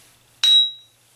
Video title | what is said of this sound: How to : Ring Test a Bench Grinder Wheel | you'll just tap it and you'll hear a real high pitch ring